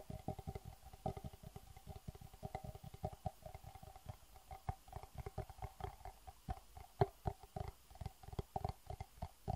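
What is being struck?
Small plastic box.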